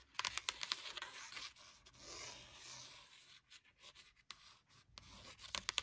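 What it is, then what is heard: Paper-covered hardcover notebook scratched and tapped with nails. A hardcover notebook with a textured paper cat-print cover and red page edges is scratched and tapped with long burgundy nails. Quick, bright clicking taps at the start and end frame a stretch of dry, rasping scratches across the paper cover.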